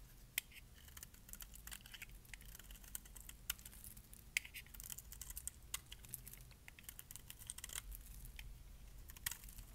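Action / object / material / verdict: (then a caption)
scrape / bar of soap shaved with a metal blade / soap / none. A metal blade shaves flakes off the edges of a solid lilac bar of dry soap, and the flakes drop onto a pile of shavings. The clip is a quiet, steady run of short, dry scraping clicks and crisp crackles with bright, high edges. A low rumble stays underneath throughout.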